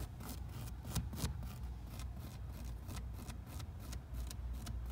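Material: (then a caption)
Knit fabric. Fingertips and nails scratch and tap on the knit fabric upper near the toe of a hollow black Adidas NMD sneaker with a rubber sole, resting on a wooden shelf. Soft, brief scratchy taps sound over a steady low rumble, with a couple of slightly stronger taps near the start.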